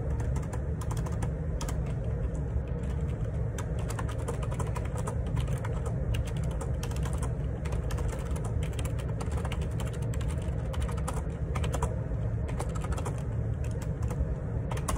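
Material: Plastic.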